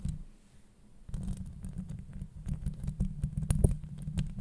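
Long nails scratch and tap on a hollow metal mesh microphone grille. After a faint, quiet opening, a dense, low, rumbling scratching starts, broken by quick dull taps and thin bright clicks that grow stronger toward the end.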